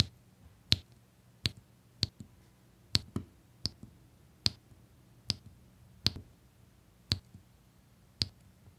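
A plastic drill pen presses small, solid resin diamond painting drills in rows onto a flat, sticky printed adhesive canvas, shown close up. About ten sharp, bright clicks come at irregular intervals, each dying away almost instantly. A faint low hum sits quietly underneath.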